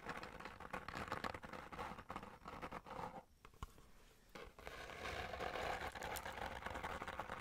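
Long nails rapidly tap and scratch the faces of a small, hollow kraft cardboard box held in both hands. The result is a quiet, dry, papery patter of quick clicks and scrapes with a bright edge and almost no ring. A softer lull in the middle gives way to steadier scratching at the end.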